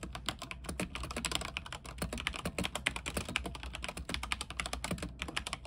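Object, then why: Mechanical keyboard with plastic keycaps. Fingertips of both hands type quickly on a backlit mechanical keyboard with white plastic keycaps on a silver frame. A steady stream of short, bright clacks ends almost instantly, over a constant low hum.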